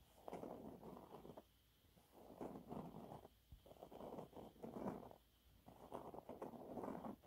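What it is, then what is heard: Cellulose sponge cloth being scratched. Fingernails scratch a thin, flat, yellow textured cellulose sponge cloth in several separate bursts with short quiet gaps between them. Each burst is a soft, dry, rasping scrape concentrated in the low-mids, with almost no bass and no high hiss.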